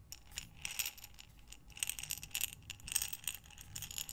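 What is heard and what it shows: A glass mason jar with a metal lid, full of small buttons, is rotated and tilted in both hands with long nails. The buttons rattle and clatter inside in quick, bright, clicky bursts with very short decays and little low end.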